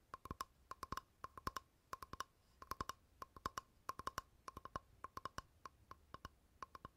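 A flat, rectangular, light solid wooden board is held in the hand and tapped with fingertips and nails on its face and edge. The result is a quick, irregular run of short, dry, hollow-sounding knocks with a woody tone around 1 kHz and bright clicky tips that die away almost instantly.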